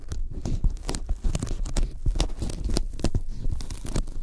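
Sticky fingertips tap rapidly on a thin white closed-cell polyethylene foam sheet lying flat in front of the microphones. The result is a dense run of soft, dull low thuds, each with a short tacky peel and crackle as the fingers lift away, with very little ring.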